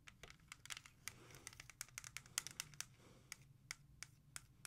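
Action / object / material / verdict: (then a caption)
tap / plastic CD jewel case / plastic / none. Long nails tap and trace across the back of a music CD's clear plastic jewel case. A quick, uneven run of sharp, bright plastic clicks cuts off almost instantly, with soft scratchy tracing strokes between them over a faint low hum.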